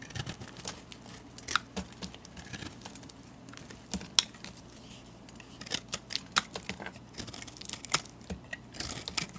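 A metal blade carves into the corners of a solid multicolored chunk soap bar and scrapes off pieces. The result is a run of quiet, crisp, bright scraping and crackling clicks at an irregular pace, with a faint steady low hum underneath.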